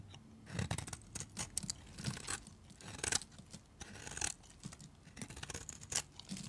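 A utility knife blade shaves the surface of a solid, dry, pale green bar of soap. The clip is a rapid series of short, crisp scraping and crunching strokes with bright, high edges and a light low thump beneath. Each stroke cuts off quickly, with no ring.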